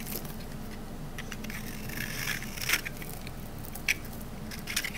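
A metal knife blade scrapes a rectangular solid green olive-oil soap bar held in the hand, shaving off dry shavings. Soft, bright, crackly scraping runs over a steady low hum, broken by three sharper, louder crunchy snaps near the end.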